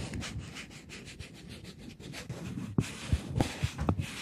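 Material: Polymer plastic.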